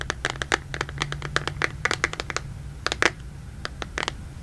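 Fingertips and nails tap and scratch the back and edges of a black smartphone in a plastic case, held in front of the mic. About twenty short, sharp clicks with bright, crisp edges peak around 2 kHz, separated by soft scratching over a steady low hum.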